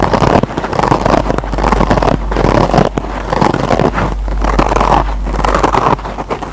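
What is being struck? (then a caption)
Kitchen scrub sponge with nylon scour pad. Fingertips and short nails of both hands scratch the green nylon scour side of a single rectangular kitchen scrub sponge with a yellow foam base, lying on a table. A steady, dense, rough scratching continues throughout, with brief dips in level and most of its energy in the low-mid range, with very little high content.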